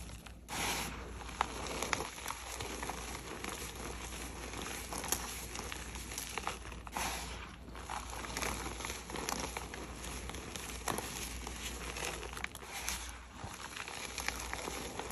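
Chalk-covered bare hands scoop up a heap of loose, dry, reddish-pink crushed gym chalk powder and crumbs from a dark round plate, squeezing and crumbling it between the fingers. The result is a steady, dense crunching and crackling with bright, gritty crinkles, pausing briefly between handfuls.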